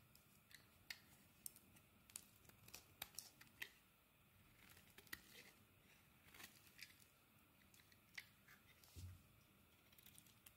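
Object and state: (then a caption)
Soap bar being carved. A metal craft blade scrapes and carves thin curls off a hand-sized solid blue bar of soap held in the palm, with shavings piling up around it. Quiet, bright, crisp scraping sounds are broken by sharp little clicks and snaps that stop instantly, over a soft hiss.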